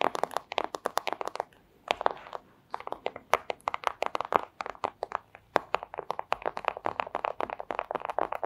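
Long acrylic nails tap and scratch a flat, thin, clear plastic pouch, producing dozens of rapid, dry, crinkly clicks in quick bursts with brief pauses in between. Each tap is sharp and dies instantly, its energy centered in the midrange around 800 Hz with crisp high edges and almost no low end.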